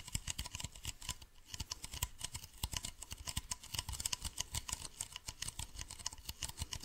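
Fingernails tap rapidly on a hollow, medium white plastic bottle with a blue cap, held close to the face. The result is a quick, dense patter of crisp, bright clicks, each with a soft low thump beneath it. Every tap dies away almost instantly, with no ring.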